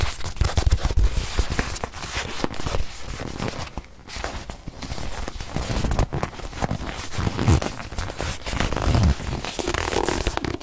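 Long nails scratch and squeeze a small stuffed white leather watch pillow held in the hand, making a dense stream of crackly scratching and rustling over soft low thumps. The texture stays busy throughout the clip, easing briefly near the middle before building back up.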